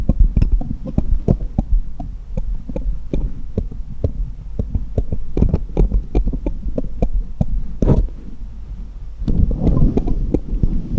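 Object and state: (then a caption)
Small steel jeweller's screwdrivers tapped together. A cluster of small solid steel jeweller's screwdrivers lies on a patterned cloth in front of a foam-covered microphone, and fingertips tap one screwdriver against the others, metal on metal. Dozens of short, quick taps sound close and heavy in the low end over a steady low hum, with faint bright ticks on some strikes. Near the end, a denser, rustling stretch swells up.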